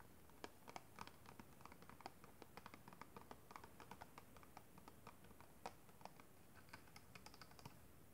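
Long red-painted nails tap and scratch the flat sides of a small, hollow, clear plastic packaging box holding a pink kabuki makeup brush, held close. The result is a quiet, fast, irregular stream of short, dry, clicky taps with no ring, mixed with faint scratchy rasps over a low, steady background rumble.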